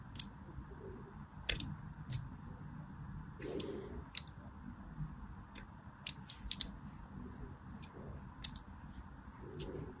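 A thin scissor blade scratches lines into the top of a solid orange Fa soap bar held in the hands. A series of short, sharp, bright scratchy clicks stands out over a quiet, low, steady background hum. Each scrape stops almost instantly, with no ring.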